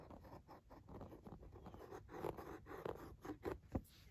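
Fingers and nails tap a flat Lindt chocolate bar in its cardboard box, then a red plastic tool held in the hand scratches the cardboard. The result is a quiet run of dry, dull taps and rough scratching, mostly low and mid toned, with a few sharper knocks standing out near the end.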